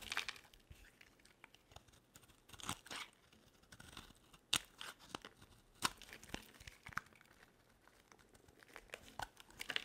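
A metal utility blade carves thin curls off a solid white bar of dry soap with a blue rim, held in the hand. Quiet, crisp, bright scraping and crackling shaves come in irregular short bursts, with a few sharper, louder cuts standing out along the way, and almost no low end.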